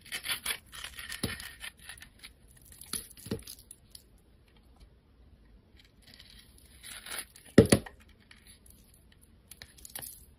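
A snap-off metal blade cuts and scrapes slices from a solid rectangular white soap bar with a purple and gold glitter coating, held in a hand with long lavender nails. Soft, dry scraping and crisp crackling shavings alternate with quiet pauses, punctuated by a few sharp, low thuds as the blade bites in, the loudest near the end.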